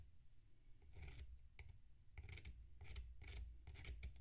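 A metal knife scrapes down the side of a tall, solid mound of packed sand sitting on a plate. The result is a series of short, gritty rasping strokes with bright, sandy crackle over a steady low rumble. The scraping is quiet and close.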